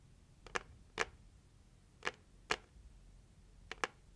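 Long acrylic nails slowly tap the closed lid of a hollow, red-printed, heart-shaped cardboard gift box. Seven short, dry, bright clicks come in uneven pairs and singles, each dying away almost instantly. Faint background hiss fills the gaps.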